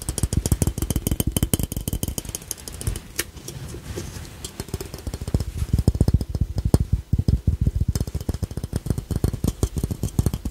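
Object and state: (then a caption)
Ceramic piggy bank. A small, hollow, glossy glazed ceramic ladybug piggy bank with a red shell and yellow face is held in one hand and tapped with the fingertips and short nails of the other. Quick, uneven runs of short, dull, hollow knocks carry mostly low, thumpy tones with faint clicky edges. Each tap dies away almost at once.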